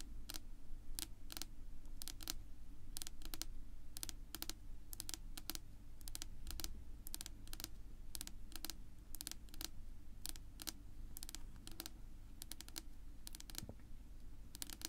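Long almond-shaped pink nails on both hands tap across the flat, solid surface of a dark wood-grain tabletop. The result is a quick, irregular run of short, bright, dry clicks that die away almost instantly, over a steady low hum.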